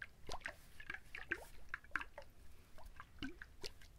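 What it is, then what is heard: Husked coconut. A whole coconut with its fibrous husk on is held in both hands close to the mic while fingertips and nails quickly scratch and tap the husk. About fifteen quiet, short, crisp taps and scratchy clicks sound in quick succession, some with a soft, wet, drippy quality over a faint low rumble.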